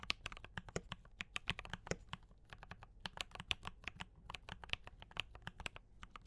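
Fingertips of both hands type quickly on a D84 mechanical keyboard with brown switches and cream and red plastic keycaps. A steady run of short, sharp, bright clicks and clacks has a soft low thump under each keystroke, with a few louder strikes standing out.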